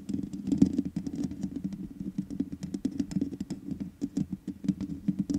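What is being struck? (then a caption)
Metal mesh microphone grille. Fingertips and long nails rub and tap the sides of the black metal mesh grille on a large USB condenser microphone with a hollow head. Dense, quick scratching and tapping patters along with a low, hollow resonance, each tap dying away almost instantly.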